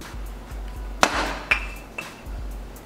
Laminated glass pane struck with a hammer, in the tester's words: 今大丈夫、音が違う気がする。分厚い。